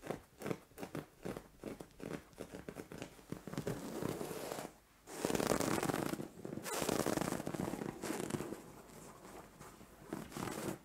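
Long orange nails scratch a soft, padded white fabric bed cover, a pillow or duvet, while hands rub across it. Quick, dry scratching bursts give way to longer, louder rustling swishes of rubbed fabric in the middle, then fade back to lighter, softer scratches.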